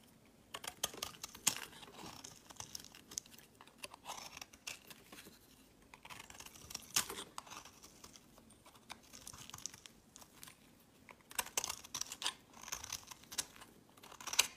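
A knife shaves thin slices from a solid green soap bar held in the hand, the slices piling up on a mat. Soft, bright scraping and crisp crackling cuts come in clustered bursts with quiet gaps between, each sound short and dry with almost no low end.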